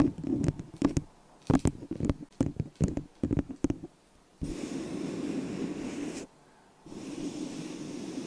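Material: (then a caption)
Plastic. A small, hollow, empty white disposable plastic cup sits upside down over a microphone and is tapped with long acrylic nails and fingertips, giving quick, dry, hollow clicks and knocks with a low body for about four seconds. The taps then give way to a steady, muffled rushing noise that stops briefly and resumes until the end.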